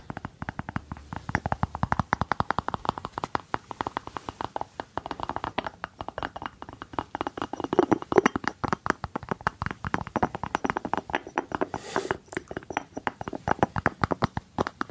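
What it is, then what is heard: Ceramic jar with cork lid. Fingertips tap and scratch the cork lid of a small hollow white ceramic jar with a blue rim, held in one hand. A rapid, uneven stream of short, dry, muffled taps with a hollow mid-range tone continues throughout, with soft scratching between them and a brief brighter scrape near the twelve-second mark.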